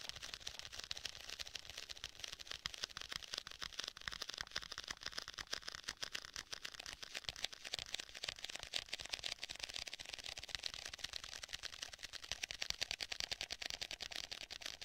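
Fingertips tap rapidly across the front and edges of a black stitched faux leather tablet case held in both hands. The taps are quiet, dry and bright, with short clicks that die away instantly, coming in a steady, slightly uneven patter of about two per second throughout.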